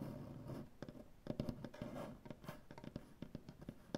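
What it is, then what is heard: Wooden butcher block table. Both hands tap and scratch a solid light wood butcher block tabletop with medium-length dark-painted nails and fingertips. A quiet, soft scratching bed is broken by a run of short, sharp wooden taps that are mostly low and warm with brief bright clicks. Each tap dies away almost at once.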